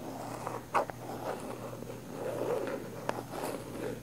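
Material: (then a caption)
Plastic. Long nails scratch the lid and sides of a round plastic body butter jar with a pink floral lid. The result is a steady, soft, mid-range rasping broken by three sharp, brief clicks.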